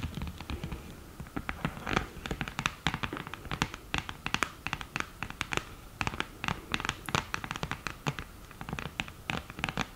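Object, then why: Cardboard eyeshadow palette with mirror lid. Long green nails scratch across the mirror surface and tap the edge of the lid of an open, thin, hollow cardboard eyeshadow palette with a mirror lid. A rapid series of short, dry clicks and taps mixes with light scratching. Each hit dies away almost instantly.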